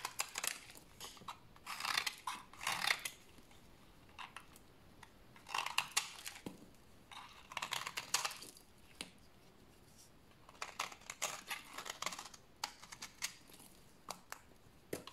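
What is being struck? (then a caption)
Soap bar shaved with a blade. A rectangular solid bar of dry white soap, held in the hands, is shaved with a utility blade. Bursts of bright, crisp scraping and crunching come in clusters of quick strokes, separated by quiet pauses.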